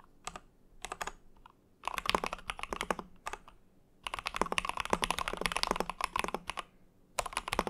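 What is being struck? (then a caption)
Mechanical keyboard with acrylic case and plastic keycaps. Fingertips of both hands type rapidly on an Ikki Aurora R1 with Hyperglides, a compact mechanical keyboard with a hollow translucent mint-green acrylic case, an aluminum plate, and white and mint PBT keycaps on Cherry MX switches. The keys are pressed and released in quick bursts of crisp, short clacks centered around 1 kHz with bright upper edges, separated by brief pauses. Longer, denser runs of typing fill the middle and end of the clip.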